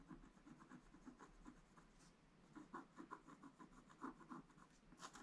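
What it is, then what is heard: Scratch-art card page being scratched. A wooden stylus scratches lines into a flat, black-coated scratch-art page, making a quiet series of short, dry, rasping scrapes. The strokes are fairly sparse, each one brief with no ring, and the mid-pitched rasp grows slightly louder and more distinct toward the end.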